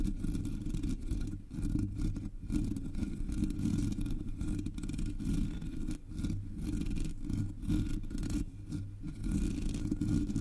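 Long metallic nails on both hands scratch the hollow black metal mesh grille of a Blue Yeti microphone. The result is a dense, continuous rasping scrape, heavy in low, muffled rumble below a few hundred hertz with almost no bright top. The level stays steady except for brief dips.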